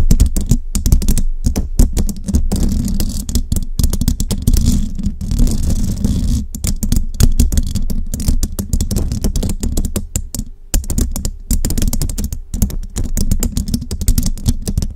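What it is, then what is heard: Metal microphone grille tapped with long nails. Long rhinestone nails tap rapidly on a hollow metal mesh microphone grille, fingers spread around it. The result is a dense, continuous stream of short, clicky taps with a deep, boomy low thump under each one and very little high-end sparkle.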